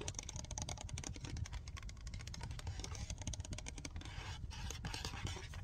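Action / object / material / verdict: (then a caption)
scrape / plastic bottle of nail polish remover / plastic / none. Fingernails rapidly tap and scratch a large white plastic Soak Off nail polish remover bottle with a black cap, full of liquid. Dense, quick clicks and scrapes ride over a steady low rumble throughout.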